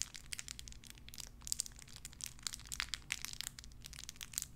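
A small clear plastic bag wrapped around a tiny white figurine is crinkled and squeezed between fingertips with long red nails. It gives a quiet, steady stream of sharp, bright crackles and snaps with no ring, over a faint low hum.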